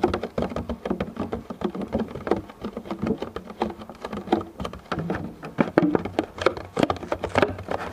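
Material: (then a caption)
Plastic. Fingertips of both hands tap quickly across the surface of a medium, clear, thin plastic food container that is hollow and empty, and then the container is held with both hands. The result is a rapid, uneven patter of short, dry, hollow taps, mostly in the low-mid range with very little bright content, each tap dying away almost instantly.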